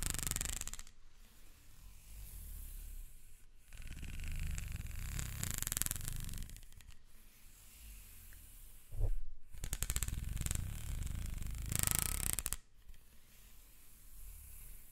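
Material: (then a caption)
Plastic. Fingertips and nails scratch and rub the ribs near the end of a black, ribbed, hollow plastic corrugated hose held up high. The result is a dense, rumbling, low-heavy rasp in bursts separated by short pauses, with bright, hissy scraping layered on top. The loudest, sharpest passages come around the middle and toward the end.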